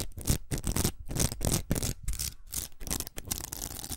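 A large, hollow pink plastic hair roller covered in velcro hooks is held in the hands and scratched and tapped with long acrylic nails. The result is a dense, irregular run of crackly, bright scratching bursts over soft, hollow low thumps, with short gaps between strokes.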